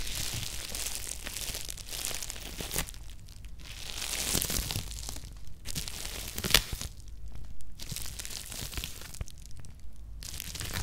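Fingertips and nails tap and scratch across the plastic-wrapped lid of a bubble-wrapped cardboard Nike shoebox resting on a cork mat. The result is bright, crinkly rustling and scraping in bursts, with a few sharper taps and brief quieter gaps between strokes.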